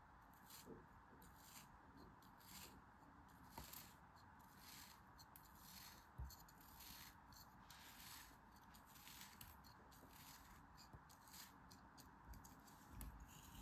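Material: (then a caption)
Kinetic sand. A thin metal blade or needle scores a grid into a flat, solid beige kinetic sand figure resting on a palm, scratching and crumbling the sand. Quiet, soft rubbing scrapes come in repeated short strokes, each with a bright, hissy edge over a steady low rumble.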